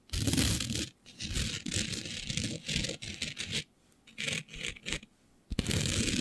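Long beige nails scratch and rub a flat black sheet coated with fine green glitter, using both hands. Bursts of dry, broadband scratching with a gritty, bright hiss over a rough low rumble come and go, separated by brief near-silent pauses.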